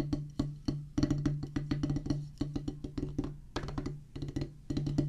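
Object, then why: Rubber practice pad on a wooden base. A solid oval drum practice pad with a black rubber top on a pressboard/wood base is drummed with two wooden drumsticks. It gives a quick, uneven run of sharp, dry taps with a short low tonal thud around 164 Hz that dies away almost at once.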